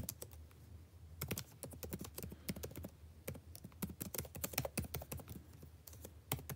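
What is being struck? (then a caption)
Plastic laptop keyboard keys. Fingertips type continuously on a backlit laptop keyboard with plastic keys, making a quiet, steady run of short, bright clicks, each with a soft low thump underneath. The taps die away almost instantly and come in quick, uneven bursts with brief pauses between them.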